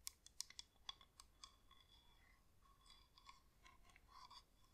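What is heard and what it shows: Long acrylic nails tap and scratch the outer wax wall of a hand-sized cream wax-coated LED flameless candle, hollow with a plastic inner shell. Sharp, bright clicks come first in quick succession, then give way to softer, continuous scratching with a few lighter taps.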